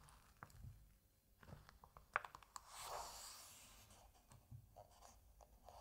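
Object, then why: Paper pages of a large comic book. Fingertips rub, lift and turn over the thin printed paper pages of a large-format Asterix comic album lying open as a solid book. Soft dry rubbing and small papery ticks lead to a sharp snap as a page lifts. A brief bright rustling swish follows as the page turns over, then quiet scratchy touches continue.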